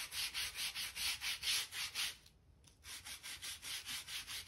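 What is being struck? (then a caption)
Oak plank floor seams scrubbed with a stiff hand brush. A hand-held gap brush scrapes dirt out of the seams between the planks of a solid oak plank floor. Rhythmic, bright, scratchy brushing strokes repeat at a steady pace, pause briefly for about half a second, then resume.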